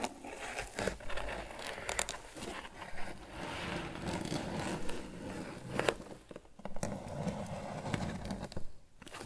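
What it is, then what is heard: Crocheted twine basket being scratched. Fingertips scratch the top and sides of a grey crocheted twine lidded basket. A steady, rough scraping and crinkling texture is heard, mostly low and muffled, broken by brief sharper scratchy accents.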